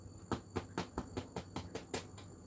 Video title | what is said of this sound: Cooking Livestream Strawberry Jam And Testing A Breadmaker | a nice hollow sound. So it sort of sounds like it's done